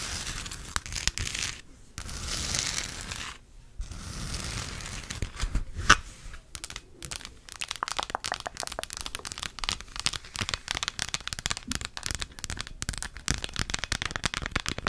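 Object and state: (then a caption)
Plastic moon lamp. A hollow plastic moon lamp sphere, lit purple and held near the mic, is tapped and scratched quickly with long nails on its surface. Dry, crinkly scratching with brief pauses gives way to a sharp click near the middle. Then comes a steady run of fast, bright, clicky taps with very short decay.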